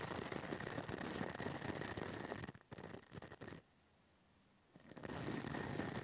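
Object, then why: Metal mesh microphone grille. A pink plastic brush with stiff white bristles scratches and brushes over the hollow metal mesh ball grille of a small pink toy-sized microphone held upright on a table. Dense, crackling scratchy brushing fills the sound with bright texture, then it breaks off into near silence at about 3.6 seconds before the scratching returns around 4.8 seconds.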